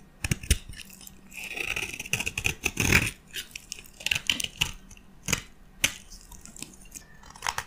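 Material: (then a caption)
Soap. A metal blade scrapes across the surface of a white solid bar of dry soap held in the hand, shaving off a fine powder. The sound is a series of dry, crisp scrapes and crunchy clicks, bright and hissy, with a faint ringing edge around 2.3 kHz.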